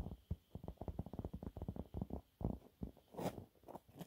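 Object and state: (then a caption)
Cellulose sponge cloth. Fingernails scratch a thin, flat, yellow textured cellulose sponge cloth. The result is a rapid run of soft, low, muffled rasping scrapes, with a brighter, hissier stroke near the end.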